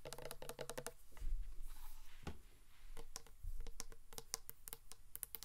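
A large black matte 720°DGREE insulated drink bottle, hollow, is tapped and scratched with long nails. Quick bursts of crisp, clicky nail taps alternate with softer scratching and a few dull, low thumps. Each tap is short and bright, with almost no ring.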